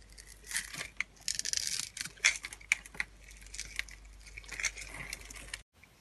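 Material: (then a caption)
Soap. A utility knife blade scrapes and cuts away the scored surface of a solid, palm-sized, pink-and-white striped bar of dry soap held in the hand, crunching off small cubes. Short, dry, bright crunches and crisp crackling scrapes come in quick bursts, with brief quiet gaps between them. The sound stops abruptly just before the end.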